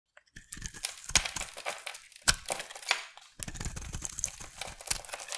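A utility knife blade shaves and scrapes a solid rectangular purple bar of soap held in the hand, peeling off curls. Dry, crisp scraping and crunching fills the clip, bright and hissy, with a few sharper cracking strokes standing out. There is a brief pause before the steady shaving resumes.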